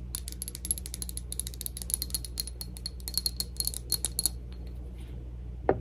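Long acrylic nails tap rapidly on a small, round, clear glass Cloud perfume bottle with a metal neck and a plastic cloud-shaped cap, partly filled and held up in the air. The quick clicks give off short, bright glassy pings over a steady low hum, then pause before one last, louder, lower knock at the end.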